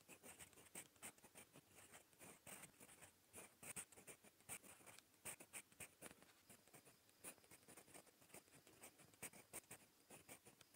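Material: Paper.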